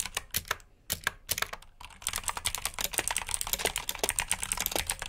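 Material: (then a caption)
Plastic. Both hands type fast with their fingertips on a full-size black plastic mechanical keyboard with backlit keycaps and clicky blue switches, resting on a brown mat. Sharp, bright clicks come in scattered bursts for the first two seconds, then settle into a rapid, steady stream of crisp, short keystrokes.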